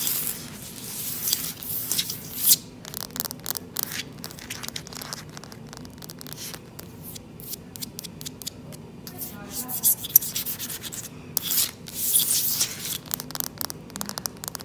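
Long, light-polished nails on both hands scratch and tap across a large, solid, dark-stained wooden or laminate plank floor. The sound is bright, dry scraping broken up by many quick, sharp taps, with almost no ring after each one.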